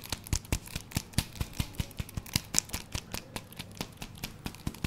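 Fingertips and nails tap and scratch the surface of two hollow, cylindrical, hand-length black foam handle grips with red stripes, likely jump rope or exerciser handles, held close to a fluffy microphone. The result is a steady run of 23 quick, dry taps with soft thuds underneath and bright scratchy edges, each dying away almost instantly, with faint rustling between them.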